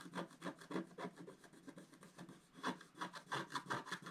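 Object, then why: Wax-coated scratch art paper scraped with a wooden stylus. A wooden stylus scratches the black coating of a flat, wax-coated scratch art sheet around the tree area. Quick, uneven, repeated strokes make soft, dry, raspy scratching with brighter bursts of texture.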